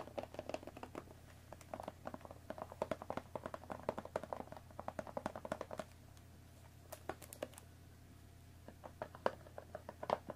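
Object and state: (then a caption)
Cardboard tea box tapped and scratched with fingernails. Long fingernails tap and scratch quickly across the top and front face of a hollow cardboard Earl Grey tea box resting on a table. Dense bursts of dry, short clicks and scrapes with a hollow midrange tone come in fast runs, thin out to sparse, sharper taps in the second half, and sit over a faint steady low hum.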